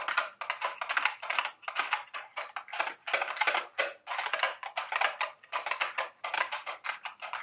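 Long, sharp red acrylic nails tap and scratch the sides of a small, hollow, empty-looking cardboard carton-shaped Dubble Bubble gum Easter eggs candy box held in the hand. Quick bursts of dry, papery clicks and scratches fill the whole clip, bright and crisp with no low end. Each sound stops almost at once, with no ringing.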